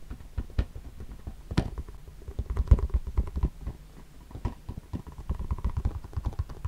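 A round, hand-sized CD spindle box with a clear plastic lid and discs partly filling it is held close and tapped and scratched with the fingertips. A quick, uneven run of soft, dull taps and light scratching follows, heavy in low thuds with short, dry decays.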